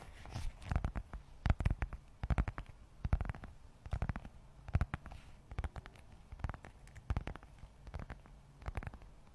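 A closed red textured leather zip wallet, held close to the microphone, is tapped and scratched with long acrylic nails. Irregular bursts of quick, dull taps and brief scratches come in clusters, mostly deep and muffled with little brightness, each dying away almost instantly over a faint low background.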